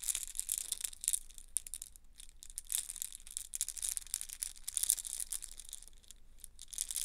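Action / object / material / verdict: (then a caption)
shake / plastic link chain / plastic / none. A yellow plastic link chain with hollow oval links is bunched and squeezed in both hands. The links clack and rattle together in a dense run of dry, bright, short clicks with almost no ring. A faint low hum sits underneath.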